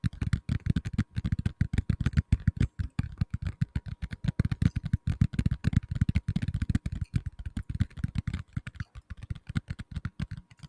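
A black tablet in a plastic case, held in both hands, is tapped with the fingertips on its back and edges. It makes a rapid, continuous stream of dull, low, hollow thuds that stop dead with almost no ring. A faint steady tone runs underneath.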